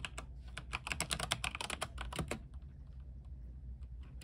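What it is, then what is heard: Mechanical keyboard with plastic keycaps. A compact mechanical keyboard with white plastic keycaps and a silver case, lit blue, is typed on with the fingertips of both hands. About fifteen quick, bright, clacky keystrokes come in a fast burst over roughly two and a half seconds, each ending sharply, then the typing stops. A steady low hum continues underneath throughout.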